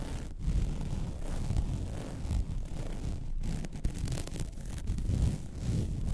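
Long red nails scratch across the surface of a flat, white woven vinyl mesh placemat. The result is a steady, dense scratching texture, mostly low and rumbling, with brief quiet dips between strokes.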